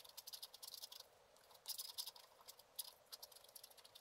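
A wooden stylus scratches a black-coated scratch art card lying flat, in fine repeated strokes. The quiet, dry scratching comes in quick bright ticks and rasping bursts, with almost no low end and a slightly louder flurry midway through.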